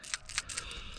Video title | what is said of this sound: 2014 Kia Rondo: Replacing a PCV Valve (Positive Crankcase Ventilation) on a 2.0 Liter GDI Engine | when you shake a new one, you can really tell the difference